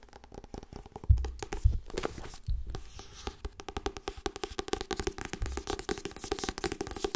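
Fast tapping on the softcover book "Harry Potter en de steen der wijzen." Quick, dry, irregular taps run continuously with soft, low thuds, and a few heavier knocks stand out near the start. Each tap dies away almost instantly.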